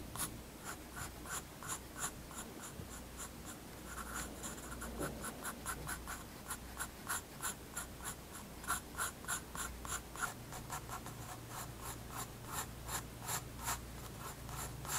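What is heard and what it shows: A graphite pencil held in the fingers scratches light strokes onto a page of a large white spiral-bound paper sketchbook lying flat on a wooden desk. Quick, irregular bursts of dry, bright scratching repeat throughout, each stroke short and crisp over a faint steady low hum.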